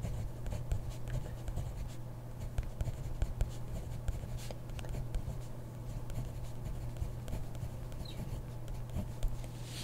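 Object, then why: Ballpoint pen on grid paper notebook page. A hand writes with a ballpoint pen in a grid-paper notebook, the pen tip scratching across the page in quiet, uneven strokes with small sharp ticks. A steady low hum runs underneath the whole time.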